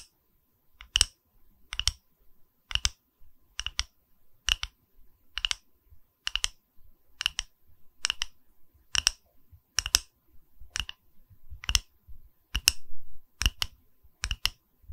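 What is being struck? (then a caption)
Wood slice coaster tapped with fingernails. Long nails tap and scratch the cut face of a small, solid, round wooden log-slice coaster with a bark rim, held in the hand. The result is a steady series of short, dry, bright clicks at roughly even intervals, each with a faint low knock beneath it. Rings on the fingers may add some of the clicks.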